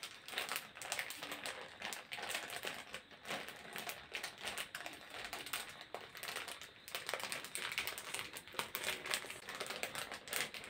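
A printed plastic snack packet is crinkled and scratched with the fingertips close to a yellow microphone. The result is a steady, quiet stream of dry, bright crackles and rapid tick-like clicks with almost no low end. Each crackle dies away almost instantly.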